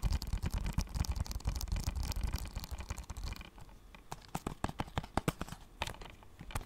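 Fingernails scratch and tap on a small, closed, thin and hollow blue plastic PS4 game case. A dense, rustling scratch with a low rumble fills the first half, then gives way to separate sharp, dry clicky taps that stop instantly.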